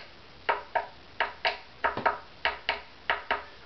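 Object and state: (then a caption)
Uneven violin saddle (two tap points differ in pitch). Eleven short, dry taps on the wooden saddle of an Opus #15 violin, alternating between the two places where the tailgut crosses it. Each tap gives a brief bright tick that fades in about a tenth of a second. The two spots ring at different pitches, showing the saddle is uneven against its target of 176.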